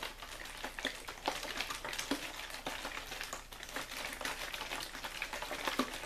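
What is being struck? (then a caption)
Thin plastic water bottle. An empty-looking clear plastic water bottle with a label is held in the hand and squeezed and crinkled with the fingers. Dense, bright crackling and sharp snapping crinkles run continuously at a low level, with short, dry pops scattered throughout and little low end.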